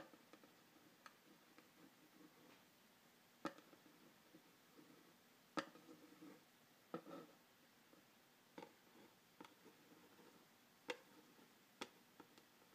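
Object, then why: Printed cardboard box. A pen tip traces and scratches along the printed front of a hollow cardboard phone-stand box held in one hand. Soft, quiet scratching runs throughout, broken by ten sharp, dry ticks that die away almost instantly.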